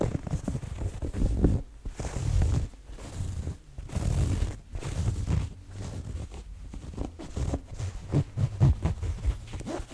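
Long dark-painted nails and fingertips scratch and rub across the ribbed fabric and chest pocket of a red corduroy cotton jacket worn on the body, a soft jacket with buttons. The result is a series of soft, low, rumbling scratchy strokes in bursts separated by brief quiet gaps.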